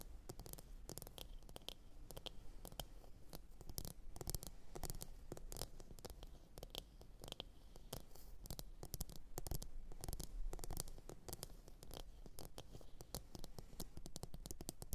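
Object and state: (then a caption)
Ceramic bowl tapped with fingernails. Long nails tap rapidly and continuously on the surface of a hollow, glossy blue ceramic bowl resting upside down. The result is a steady stream of quiet, sharp clicks with very short ring over a low, dull body.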